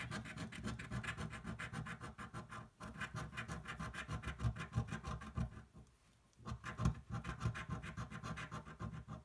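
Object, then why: Paper scratch-off ticket scraped with a coin. A coin rubs the scratch-off panels off a thin paper lottery card lying flat on a table. Quick, rasping scratch strokes repeat in a steady stream, with a brief break near the three-second mark and a near-silent pause around six seconds before the scratching resumes.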